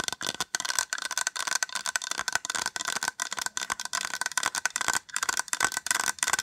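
Long acrylic nails tap fast across the top of a small white hollow plastic case, producing a rapid, rattling stream of bright, dry clicks. The taps fall in quick bursts with short gaps, with a faint hollow ring near 1.5 kHz and almost no low end.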